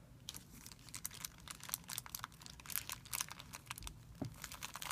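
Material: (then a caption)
Plastic film. Fingertips scratch and rub a thin, clear plastic film bag lying on a white surface. The result is a quiet, steady stream of crisp, bright crinkles and rustles with very little low end, each burst dying away almost instantly.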